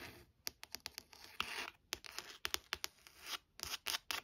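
Long nails tap and scratch across the embossed cover of a burgundy, textured, leather-bound hardcover book. A quick series of sharp, bright clicks mixes with short, raspy scratching swipes. The sound is quiet and crisp, with almost no low end and very short decay.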